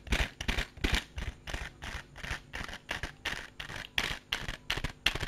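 A small, hollow, transparent plastic case with compartments is held in the hand and tapped and scratched with fingertips and nails. It makes a quick, uneven run of short, bright, clicky taps and scratchy bursts over a soft low thud, each dying away almost at once.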